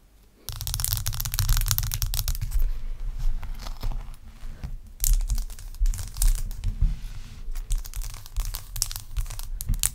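Long acrylic nails scratch a large, clear, solid block of ice resting on a towel. After a brief quiet start, a dense, rough, crackling scrape with a strong low rumble runs almost continuously, dips briefly near the middle, then resumes in sharper bursts.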